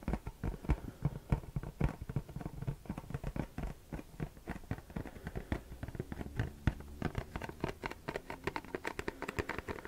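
A printed Versace perfume cardboard box with a textured print is tapped and scratched with short fingernails. Quick, dull, hollow taps come in a steady, irregular patter, mixed with soft scratching across the surface. The sound is mostly low and muffled, and each tap dies away almost instantly.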